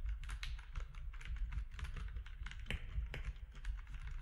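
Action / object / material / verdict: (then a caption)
tap / plastic mechanical keyboard / plastic / none. Both hands' fingertips type steadily on a compact plastic mechanical keyboard with grey, white and orange plastic keycaps. The result is a dense run of short, dry key clacks and taps that stop almost instantly, over a deep low hum.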